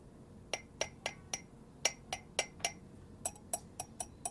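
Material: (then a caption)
Ceramic. The ceramic lid of a hohin from Karatsu, a small pot with a small spout, is tapped 13 times at an uneven pace. Each tap gives a short, bright clink that dies away almost at once.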